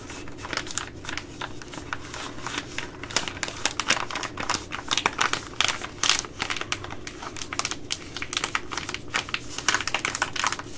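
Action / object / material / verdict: tap / plastic laminate food pouch / plastic laminate / none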